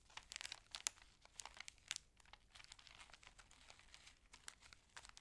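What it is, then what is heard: Cellophane sheet. A small, clear, thin, empty cellophane sheet is held between the fingers of both hands and crumpled, rolled and rubbed with the fingertips and long red nails over a table. It makes quiet, bright, irregular crackling crinkles in uneven bursts, with almost no low end.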